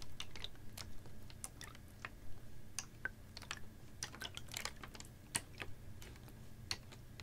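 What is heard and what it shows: A clear, ribbed PET water bottle, capped and about half full of water, is tilted, tapped and squeezed with fingernails. It gives a quick, irregular run of short, dry, bright clicks and crinkly ticks that die away almost instantly, over a steady low hum.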